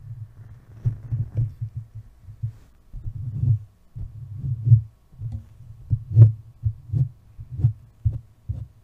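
A hand with long painted nails rubs and taps directly on the hollow body of a large white metal desktop USB condenser microphone on a stand, with fingertips and nails stroking and scratching the casing. The result is a run of deep, muffled thumps with a low hum beneath them, each thump dying away almost instantly. The thumps come at an uneven pace, with faint brushing texture between them.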